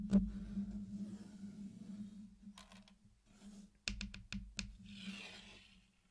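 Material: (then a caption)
Candy coating. Fingertips tap and push along the edge of a flat circular mosaic of many small solid candy-coated chocolates on a black surface. The result is hard, quiet clicking contacts with a steady low hum underneath. A soft brushing hiss follows near the end.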